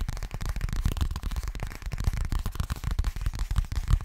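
A hollow, boxy yellow fabric toiletry bag, probably coated fabric, is tapped rapidly and scratched with fingernails. The result is a steady stream of quick, dull, low thumps with very short decay and faint scratchy texture over a continuous muffled rumble.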